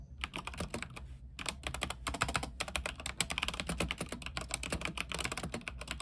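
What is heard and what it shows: Fingertips of both hands type rapidly on an RGB mechanical keyboard with white plastic keycaps on an aluminium frame. A steady run of crisp, bright clicks and clacks plays over a low, constant hum, with only a brief pause about a second in.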